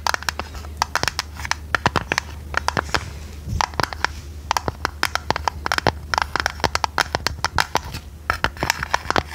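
Long red nails tap and scratch a hand-sized, hollow square metal tea tin with a domed lid and a purple printed design. The result is rapid, irregular, dry clicks with bright metallic ticks and brief scratchy rasps, over a steady low hum.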